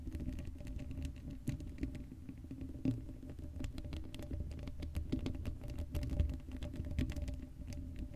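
Long blue acrylic nails on both hands scratch across the black woven metal mesh grille of a hollow Blue Yeti microphone head with no foam cover. The result is a dense, rapid patter of short scratchy ticks and taps over a heavy low rumble, with a few sharper clicks standing out.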